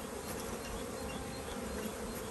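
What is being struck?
Nothing is struck.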